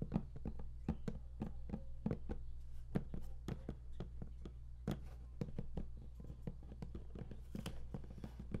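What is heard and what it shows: Fingertips tap and knock on the lid of a large, flat cardboard game collector's box that is closed and hollow. The result is a quick, irregular run of short, dull taps with a hollow low thud. Each tap dies away almost at once over a steady low hum.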